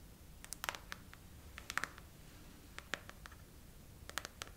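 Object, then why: Silicone phone case. Long nails scratch and tap across the raised heart bubbles of a clear silicone phone case on a phone. Short, sharp clicks arrive in irregular clusters over a low, steady hiss, each dying away almost instantly.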